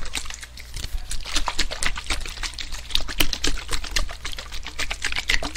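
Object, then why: Aluminium aerosol can. A hand-sized, hollow, blue metallic aluminium aerosol-style spray can, fill unknown, is held close to the microphone and tapped and scratched with fingertips and nails. The result is a quick, uneven stream of dry, bright clicks and scratchy ticks that stop short with little ring, over a steady low rumble underneath.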